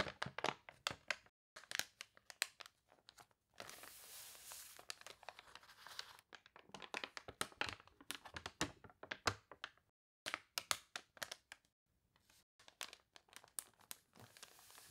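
Long nails scratch the wavy, glossy pages of an open, water-wrinkled paper toy catalog and turn a page, filling the clip with quiet, bright, crisp crinkles and crackles. A longer stretch of steady, hissy rustling comes as the page turns, broken by brief silences.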